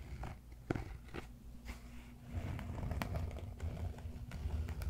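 Fingernails scratch and fingertips tap the surface of a large, solid cork yoga block held close to the mic. Soft, dry taps and short scratchy bursts sit over a dense, low rumble. The scraping grows fuller and louder in the second half.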